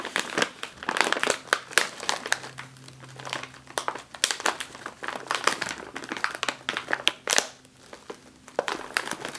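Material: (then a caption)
Metallized plastic. A sealed, puffed metallized foil snack chip bag is tapped with the fingertips and nails, then pressed. It gives a rapid run of sharp, bright crinkles and crackles with very little low end. Each crackle dies away almost at once.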